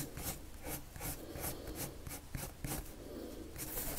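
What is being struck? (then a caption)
Paper sheet scratched by a wooden pencil. The tip of a pink-striped, wood-cased colored pencil, held in the fingers, rubs and scratches across a thin white paper sheet lying flat on a table in repeated short drawing strokes. Each stroke gives a quiet, dry, scratchy rasp with bright hissy bursts over a soft low rumble, and the strokes follow each other steadily throughout.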